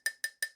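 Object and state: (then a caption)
Aluminum light frame. Three taps on the aluminum frame of an underhood LED work light give short, bright metallic clicks. Each tap has a clear ringing tone near 1.8 kHz that fades within a fraction of a second.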